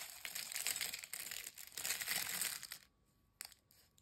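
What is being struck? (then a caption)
Potato chip fragments in a glass bowl. A pile of broken, dry, crisp potato chip fragments is crushed and pressed with fingers and a hand inside a glass bowl. Dense, bright crackling and crunching runs for almost three seconds. It then drops to near silence, broken by one short sharp crackle and a faint rustle.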